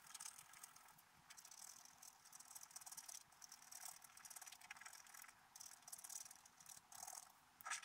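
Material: Coated paper.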